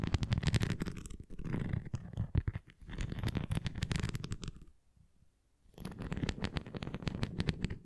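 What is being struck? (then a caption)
Plastic flying disc toy. A red plastic flying disc toy is held flat while long nails tap rapidly along its rim and raised bumps, making dense, low, hollow clicking and scratchy patter. The tapping pauses for about a second near the middle, then resumes at the same quick pace.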